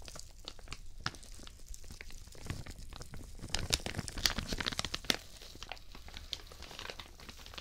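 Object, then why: Thin plastic shower cap. A thin, translucent, white, patterned plastic shower cap, empty, is stretched open and crumpled between both hands in front of the mic while the fingertips crinkle the film. Dense, bright crackling and rustling runs throughout, growing louder and sharper in the middle before settling back into softer crinkles.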